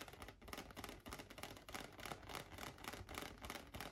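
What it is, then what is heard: Latex balloon. A large, light-blue inflated latex balloon, hollow and air-filled, rests on a lap and is tapped with fingertips and nails. Quick, uneven taps patter steadily for the whole clip, each a short, hollow thump with a bright clicky edge that dies away almost at once.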